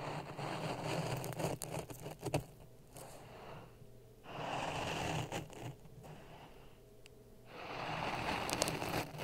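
A thin wooden stick stirs and scrapes through dry grey sand over a white layer in a tall clear plastic cup resting on a red microphone. Gritty, hissing scrapes with sharp crackling ticks come in three louder stretches, separated by quieter, softer rustling lulls.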